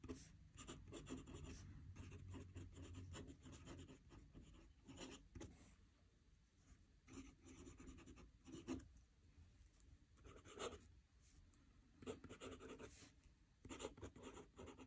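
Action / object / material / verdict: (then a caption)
scrape / metal pen nib on paper notebook sheet / paper / none. A metal fountain pen nib scratches across a squared paper notebook page lying flat on a desk as the hand writes. Quiet, dry scratching strokes come in short bursts with brief pauses, carrying a bright rasp over a soft low rumble.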